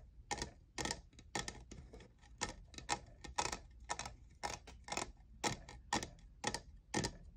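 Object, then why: Plastic studded tumbler. Fingernails tap the faceted side of a tall, hollow, lavender plastic jeweled tumbler that appears empty. The result is a loose, uneven run of quick, bright clicks, about two per second, each dying away almost at once, with a hollow plastic tone centered near 950 Hz.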